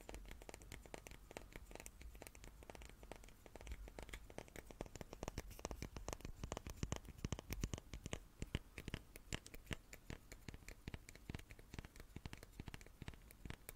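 A small wooden cube is tapped repeatedly in a quick, irregular flurry of dry, clicky taps. Each tap is short and dies away at once with no ring, over a soft low-end rumble at a fairly quiet level.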